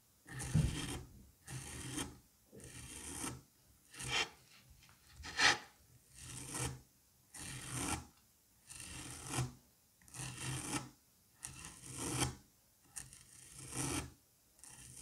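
A curette scrapes the grooved surface of a solid dome of green kinetic sand held in a gloved hand. Each stroke makes a dry, grainy rasp with soft low thumps and a bright hiss. The scrapes repeat unevenly with short silent gaps between them.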